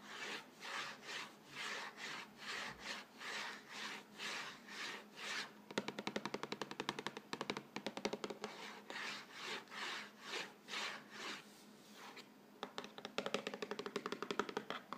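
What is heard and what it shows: Fingertips and nails rapidly scratch and rub the front face of a yellow Vegetable Thins cardboard cracker box, hollow and likely full. Steady, rhythmic swishing rub strokes give way to a dense, fast patter of crisp, bright scratching, ease briefly into a softer rub, then return to quick scratching.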